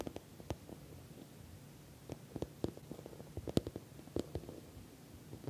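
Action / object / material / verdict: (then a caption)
tap / patent vinyl cosmetic pouch / vinyl / none. Long nails tap on the sides of a filled, puffy orange glossy patent vinyl cosmetic pouch with a metal logo plate. About a dozen soft, short, dull taps with a low body ring out over quiet background hiss, each dying away almost at once.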